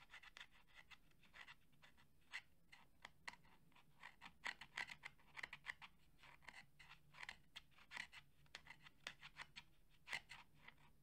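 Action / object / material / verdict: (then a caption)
scrape / fabric-covered plastic portable speaker / fabric, plastic / none. Fingernails scratch along the woven fabric grille of a hollow, red JBL cylindrical portable Bluetooth speaker made of fabric-covered plastic, held in both hands. It makes a rapid series of short, dry, rasping scrapes, bright and centered around 2 kHz, each dying away almost instantly over a faint low background hum.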